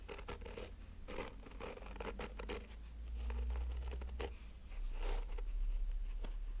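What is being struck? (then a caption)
Nylon-mesh covered hard sunglasses case. Fingernails scratch slowly across the woven surface of a black nylon-mesh, fabric-covered rigid hollow sunglasses case, close up. Dry, papery scratches repeat in uneven strokes, with a low hollow rumble beneath them.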